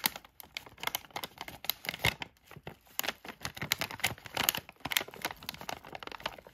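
A palm-sized yellow Halls cough drop bag made of thin plastic foil and filled with drops has its surface traced and scratched, first with fingertips and then with a thin black tweezer-like tool. The result is a steady run of bright, crisp crinkles and scratchy ticks, each dying away almost instantly, with very little low end.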